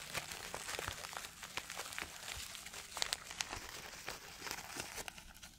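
A white paper tissue held in both hands is crumpled and rubbed by fingers close to a microphone. It makes a steady, dense crinkling with sharp, bright crackles and very little low end. Several louder snaps stand out from the rustle near the middle of the clip.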